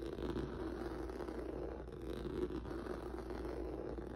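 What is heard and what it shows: Fingertips and nails scratch across a flat black rubber or vinyl mat with a textured noodle surface. The result is a steady, soft, continuous scratchy rustle, centered in the low-mids with a faint low hum underneath, staying at an even level for about four seconds.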